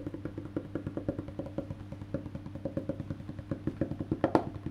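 Fingertips and nails tap the solid, black-painted wooden back of a face-down electric bass guitar near the neck plate. A steady run of quick, dull wooden knocks with a low hum beneath, each dying away almost at once, ends with one louder, sharper tap near the close.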